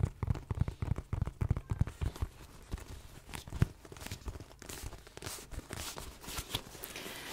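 A medium-sized tan leather shoulder bag with a spotted, leopard-print hair-on-hide flap and a pink buckle is held closed close to the mic. Fingertips and nails tap and scratch across the flap. The result is a quick run of soft, dull, low taps in the first few seconds, then a fuzzier, brighter scratching and brushing texture.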